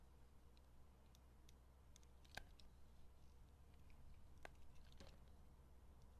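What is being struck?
Soap bar shaved with a metal blade.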